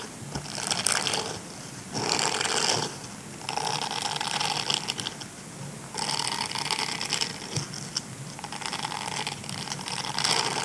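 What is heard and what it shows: A grey silicone scrubber sponge with nubby bristles is held in both hands while fingertips and short nails scratch and rub across the bristles. The result is a dense, bright, crackly scratching that swells and fades in alternating bursts of rubbing, with almost no low end.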